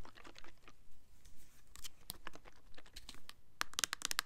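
Long nails scratch and tap the label and sides of a full red Winter Candy Apple plastic foaming hand soap bottle from Bath and Body Works, held in the hands. Soft, crinkly scratching and light ticks give way at the end to a quick run of sharp, bright taps, each dying out almost instantly.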